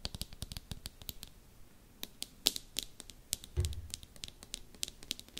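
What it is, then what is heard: Plastic container tapped with nails. A small, hollow teal plastic slime container or tube, held in both hands above the microphone, is tapped and clicked with long manicured nails. The result is a quick, irregular run of sharp, bright clicks with almost no ring, plus a soft low thump partway through.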